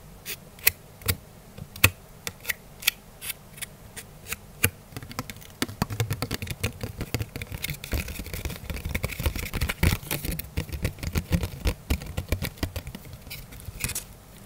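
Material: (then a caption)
Plastic. Fingernails tap and scratch a small, round, thin, hollow, transparent plastic container lid held in both hands. Sparse, sharp clicks with very short ring open the clip, then build into a dense, rapid flurry of taps and scraping. The lid gives a bright, crisp plastic sound over a low rumble.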